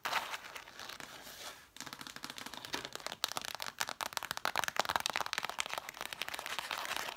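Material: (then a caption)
Cloth, cardboard. Long matte black nails scratch and then tap rapidly on the spines of a stack of six red cloth-covered vintage hardcover books. A brief dry rustling scratch gives way after a short pause to a fast, uneven patter of crisp, bright clicks with no low end and almost no ring.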